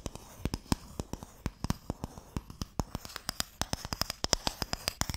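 A small, closed, pale wooden Mikado box, hollow and holding sticks, is held in both hands and tapped and scratched with fingertips and nails. About 29 quick, dry taps sound with almost no ring, separated by soft, bright scratching. The taps have a low, hollow body and speed up toward the end.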